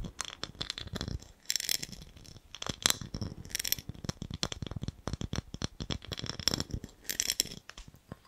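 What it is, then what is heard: Ribbed glass jar with metal lid. A small, clear, empty ribbed glass jar with a gold lid is tapped and scratched with fingernails. Many quick, dry clicks and taps come in rapid bursts. Several longer bright, hissing scratch strokes are heard between them.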